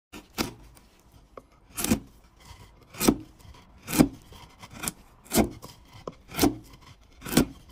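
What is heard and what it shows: A hand pushes a broad steel chisel down the side of a large, solid, pale wood cylinder standing on a wooden workbench, paring off thin curled shavings. About seven main strokes are heard, with fainter scrapes between them; each is a short, dry scraping rasp with a mid-low woody body and a bright hissy edge that stops quickly.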